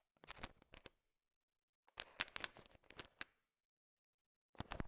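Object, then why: Pile of candy-coated chocolates stirred with a stick. A thin wooden stick stirs through a pile of small, solid, colorful sugar-coated M&M candies, and the candies shift and click together. The clicks are quick, bright and dry, coming in three short bursts separated by silence.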